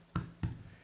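A finished sourdough loaf is turned upside down and tapped twice on the bottom to check that it is baked. Each tap gives a short, low, hollow thud that dies away quickly. The hollow sound shows the loaf is baked through and ready.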